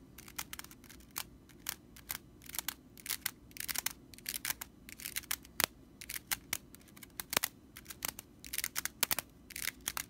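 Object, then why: Straw whisk broom bristles. Long nails scratch quickly across the straw bristles of a stitched whisk broom, producing rapid, dry, crackling rattles. The sound comes as dozens of short, crisp bursts that are bright and airy, with no ring after each scratch and only a faint low hum underneath.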